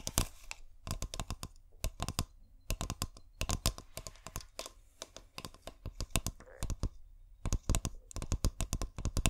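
Long painted nails tap rapidly on a clear glass bottle held neck-down with fairy lights inside. Sharp, dry clicks come in quick bursts separated by brief pauses, each tap bright and dying away almost instantly over a low, soft background hum.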